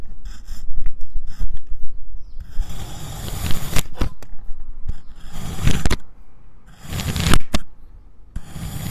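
A white ceramic knife slices through a solid, fist-sized purple kinetic sand cylinder, with loose green sand slices lying nearby uncut. The cutting produces soft, grainy crunching and scraping strokes, heavy in the low end, coming in bursts separated by brief quieter gaps.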